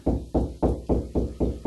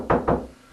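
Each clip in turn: First: hollow drywall cavity. Second: drywall over a stud (solid spot).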